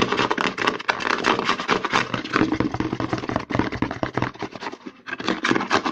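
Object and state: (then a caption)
Plastic lotion bottle. Fingertips and short nails rub and scratch quickly along the narrow side of a white plastic CeraVe lotion bottle, held sideways, over its embossed logo. A dense run of short, crisp scratches and light taps sounds with a bright, hollow plastic rasp that stops abruptly with no ring.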